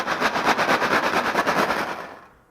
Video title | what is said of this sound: [압타클럽] 아기 놀이 클래스_ 13-18개월 아기와 함께하는 엄마표 풍선 악기 놀이 | 쌀이 들어 있는 풍선을 흔들어 보니 찰랑찰랑 꼭 비가 오는 소리처럼 들리네